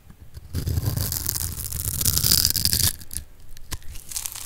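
A metal blade scores a grid into a solid purple bar of dry soap held in the palm and cuts it into small cubes. A dense, crisp scraping crunch builds from about half a second and runs loud and bright until almost three seconds. Quieter crackles and a few sharp snaps follow as the cubes break apart.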